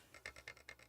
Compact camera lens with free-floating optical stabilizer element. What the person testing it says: This is off, so you hear kind of a clunk, clunk, clunk, clunk, clunk